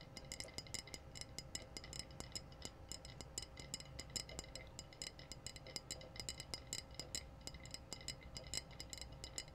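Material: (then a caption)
Glass. A clear glass wine bottle with a metallic red cap, hollow and apparently empty, is held up and tapped rapidly with long blue-painted nails. The result is a quiet, steady stream of bright, glassy clicks that ring only briefly, over a low background rumble.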